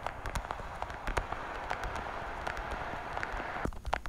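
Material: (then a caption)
Plastic. Long, dark-painted nails tap rapidly across the lids of a small, hollow, translucent blue plastic weekly pill organizer case held horizontally. The result is a quick run of crisp, hollow plastic clicks with a midrange ring near 800 Hz, set over a steady low rumbling hiss.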